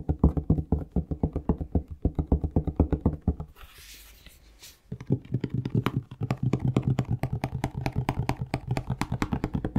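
A plastic Palmolive shower gel bottle is tapped rapidly with the fingertips, giving a steady stream of short, hollow, low thuds. Around the middle the tapping pauses for about a second of faint, bright rustling, then the quick tapping resumes to the end.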